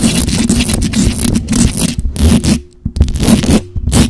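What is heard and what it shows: Long acrylic nails quickly scratch and tap the hollow metal mesh grille of a black microphone. The result is a dense, boomy, low-heavy scraping and rasping with soft thumps, dropping to a brief near-silence before starting again.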